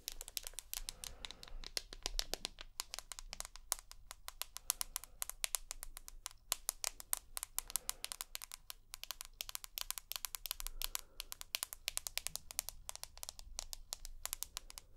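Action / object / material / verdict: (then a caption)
tap / glass-backed smartphone / glass / none. Long fingernails tap and scratch rapidly across the glass back of a rose gold iPhone held close to the microphone. The result is a dense stream of sharp, bright clicks with very short decay and a faint scratchy texture between them, over a low steady hum.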